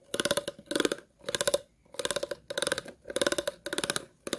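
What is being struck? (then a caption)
Plastic water bottle scraped with scissors. Scissors scratch along the ridges of an empty, hollow, clear plastic water bottle in a series of short strokes, each a rapid run of ticking clicks. About eight strokes are heard, the last cut off. The scraping has a hollow, plastic resonance near 600 Hz and bright, crackly highs.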